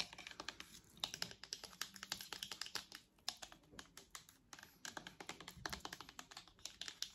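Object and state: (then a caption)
Plastic headphone headband tapped with nails. Long acrylic nails tap rapidly on the hollow purple and white plastic headband of a pair of wireless headphones. The result is a quiet, steady stream of short, bright plastic clicks with almost no low end, each dying away almost instantly, with a brief pause near the middle.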